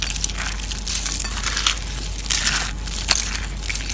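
Crumbled orange dried soap shavings in a plate are pressed and crushed with fingers and palm. A steady, dry crackling crunch fills the clip, mostly bright and high with a low rumble underneath, and sharp crisp snaps stand out over it.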